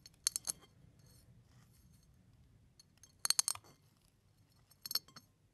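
A fingertip presses down on brown and white eggshell fragments resting on a plate, crushing them. Three short bursts of bright, crisp crackling and clicking come through, each dying away almost instantly, with near silence in between.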